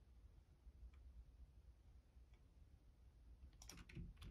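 Fingertips type on the left-side keys of a black plastic Logitech keyboard. Over a steady low rumble, a couple of faint, isolated clicks come first, then a quick cluster of sharp, bright key taps near the end.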